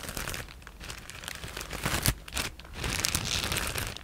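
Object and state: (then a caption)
Plastic bag of foam cushioning pieces. A clear plastic bag full of white foam cushioning pieces is squeezed and scratched with long nails. Dense, bright crinkling and rustling runs throughout, with a louder crunch near the middle and a brief swell just after.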